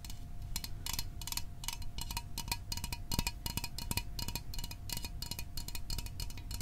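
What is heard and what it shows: Fingernails and fingertips tap quickly and steadily on the body of a small, hollow Fanta orange aluminium drink can held above the microphone. Each tap is a short, bright metallic click with a faint tinny ring that dies away almost at once. A soft low rumble sits underneath.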